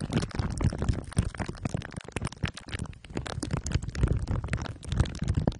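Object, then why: Microphone wrapped in aluminium foil and plastic wrap. Two glue sticks are rubbed over the top and sides of a microphone head wrapped in crumpled aluminium foil under clear plastic wrap. The result is a dense, continuous run of sticky scraping and crinkling with heavy low-end rumble and quick overlapping bursts. Faint high hiss sits above it.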